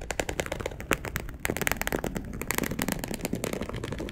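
Long acrylic nails scratch a dark brown perforated polyester mesh fabric sheet laid flat. A fast, continuous run of sharp, dry scratching clicks crackles with bright, rasping texture. Each stroke stops dead with almost no ring.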